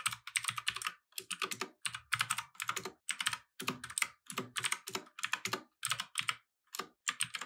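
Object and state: Plastic mechanical keyboard.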